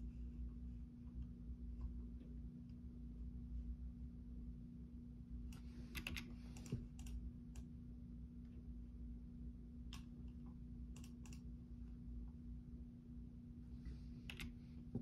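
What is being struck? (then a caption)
Plastic computer keyboard. Fingertips tap the keys of a full-size black plastic Logitech keyboard with a hollow housing, resting on a desk tray. Soft, scattered clicks rise over a steady low hum, with brief bright bursts clustered midway and near the end.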